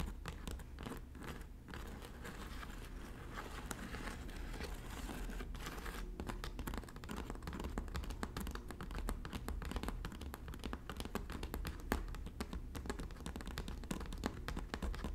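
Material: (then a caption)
Straw. Long natural nails of both hands tap and scratch across the hollow woven panel of a red straw bag, working from above. A quiet, dense stream of soft crinkly scratches and light ticks runs steadily over a low, steady hum. It grows slightly busier toward the end.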